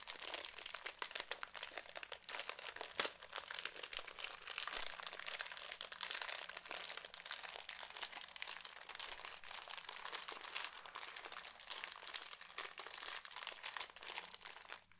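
A small Cheetos snack bag made of foil-lined plastic is crinkled and squeezed with fingertips close to the microphone. A dense, steady stream of bright, crackling crinkles fills the whole clip with almost no low end. It eases off slightly at the very end.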